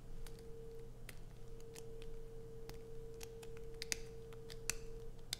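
Long nails scratch a solid, heavily grooved blue bar of soap held in both hands, making short, bright, dry clicks and scrapes that stop almost instantly. They sound over a steady low hum and a faint constant tone, with a few sharper snaps near the end.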